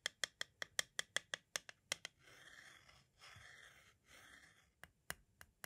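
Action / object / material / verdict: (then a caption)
tap / plastic cassette shell / hard plastic / none. A pointed tool taps and scratches the lower face of a small, hollow white hard-plastic audio cassette shell. A quick run of sharp, bright clicks gives way to three longer, raspy scratching strokes, then a few more scattered taps.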